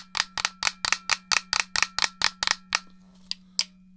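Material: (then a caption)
Plastic. Long nails tap the shell and press the buttons of a hollow, handheld black plastic GameCube controller. A quick, uneven run of sharp, bright clicky taps with almost no ring slows into a few sparser taps toward the end, over a faint steady low hum.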